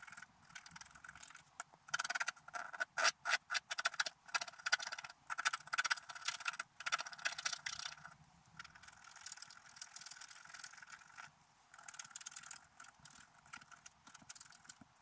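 A wooden stylus scratches the coating in the middle of a flat black-coated scratch art paper sheet resting on a table. Dry, papery scraping comes in rapid, gritty strokes, loudest and densest in the first half. It then settles into quieter, steadier rasping, all bright with almost no low end.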